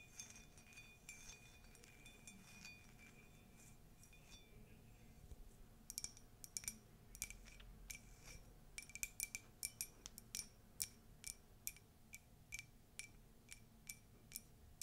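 Long nails tap and scratch the outside of an empty, hollow, tall white ceramic latte mug with a text print. Soft scratching and scattered light taps give way after about six seconds to quicker, bright, high-pitched clinks that die away almost instantly over a quiet, low background.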